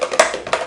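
A closed bottle with unknown contents is shaken, giving a quick series of short, bright rattling taps with a midrange tone. Each tap dies away almost at once.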